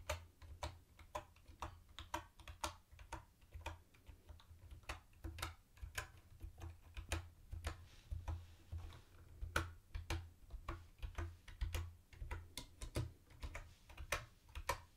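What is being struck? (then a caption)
Plastic computer keyboard with round keycaps. Fingertips tap the round white plastic keycaps of a mint-green plastic retro keyboard, one hand at a time, producing about forty short, sharp clacks at an uneven typing pace. Each bright, plastic tick dies away almost instantly, over a steady low hum.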